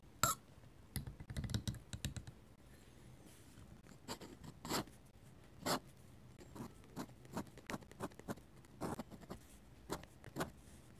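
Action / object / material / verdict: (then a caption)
scrape / metal-nib dip pen on paper sketchbook page / paper / none. A metal-nib dip pen scratches ink lines across the paper pages of a hardcover sketchbook. Quiet, dry scratching strokes come in short bursts, denser at the start and then spaced apart. Each stroke has a bright, rasping edge and dies away almost at once.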